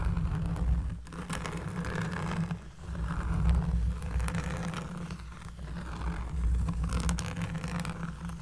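Long fingernails scratch across a round, flat, solid cork trivet lying on a table while the other hand holds it steady. The result is a continuous low, bassy scraping rumble with soft rasping texture and a few brief dips in loudness.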